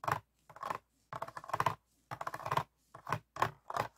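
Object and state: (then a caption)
Empty plastic water bottle. An empty, hollow, clear ribbed PET water bottle with a blue cap, held on a table, is tapped and scratched with fingertips and nails. Short bursts of crinkly plastic scratching and tapping come in uneven clusters with brief silences between them, centered in the midrange around 1 kHz with little low end.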